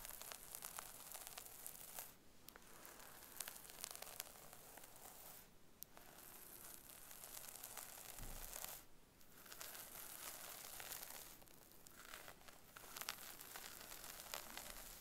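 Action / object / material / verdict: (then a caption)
scrape / synthetic wig hair on a mannequin head / synthetic hair / none. Long acrylic nails on both hands scratch through the hair of a brown wig on a mannequin head, working at the crown and the parting. A steady, dense crackling and tearing rustle fills the clip, bright and crisp, with brief quieter gaps where the scratching pauses.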